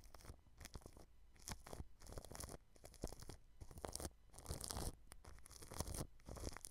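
A paintbrush sweeps across clear plastic cling film wrapped over a white microphone, brushing the film along the grille. Bursts of soft crinkling and scratchy rustling come in repeated strokes, with bright hiss and dull low thumps where the brush presses the wrapped mic.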